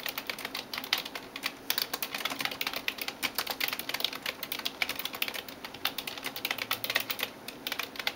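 Fingertips and nails type rapidly on the keys of a backlit plastic computer keyboard. The result is a dense run of short, sharp, bright clicks and taps with almost no low end, each dying away quickly.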